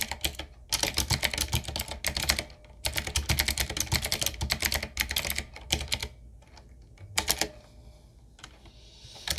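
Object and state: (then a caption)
Mechanical keyboard with round plastic keycaps. A 7Keys full-size, typewriter-style retro mechanical keyboard with a solid body, round plastic keycaps on a dark metal plate and a wooden-looking frame is typed on with the fingertips of both hands. Rapid bursts of bright, crisp clacking keystrokes come in runs separated by short pauses, over a steady low hum. Near the end the typing thins to a few scattered taps before one last brief flurry.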